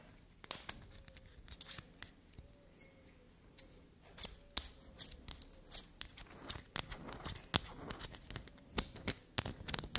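Long black nails scratch and tap across the ridges of a solid black soap block held upright. The result is a fast run of dry, bright scratches and many quick, sharp clicks over a faint background hiss. The taps grow louder and denser in the second half.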